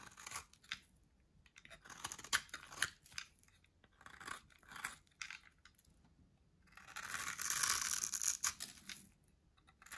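A solid, pale white-grey dry soap bar held in the hand is shaved and scraped with a metal box-cutter blade, sending flakes falling. Short, dry, crunchy scraping strokes come in irregular bright bursts with quiet gaps between them. A longer, denser scrape follows near the end.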